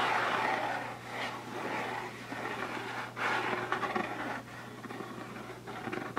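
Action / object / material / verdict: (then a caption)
scrape / closed rigid cardboard box / cardboard / none. Fingertips and nails scratch and tap across the lid of a closed, hollow, rigid cardboard Birchbox gift box with its lid on. The result is a continuous dry rustling scrape with brighter papery tap accents. A steady low hum runs underneath throughout.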